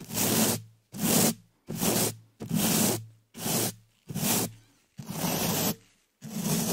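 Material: Metal mesh.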